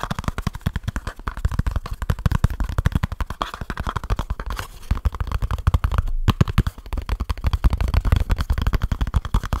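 Fingertips tap fast and fingernails scratch on a small kraft cardboard box with a barcode, held close to the mic. A rapid, unbroken stream of short, dry, thumpy taps carries mostly low boomy energy, with faint scratchy texture, and briefly drops out around six seconds before resuming.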